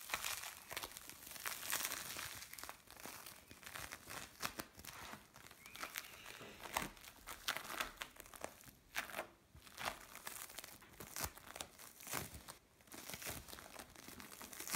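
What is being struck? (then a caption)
Bead play foam. Mixed blue and orange bead play foam is squeezed in the hands and pressed on a tray, giving a steady stream of bright crinkling, crackling and crunching pops. The quiet, dense clicks come in swelling bursts with short, dry decays and little low end.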